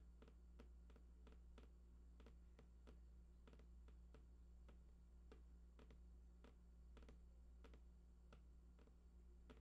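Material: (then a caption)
Cardboard. Fingertips tap the right side edge of a large printed cardboard PlayStation 4 box, hollow with unknown contents. Quiet, dry, light taps with a brief bright click repeat at a steady, uneven pace over a constant low hum.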